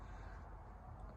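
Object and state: Nothing is struck.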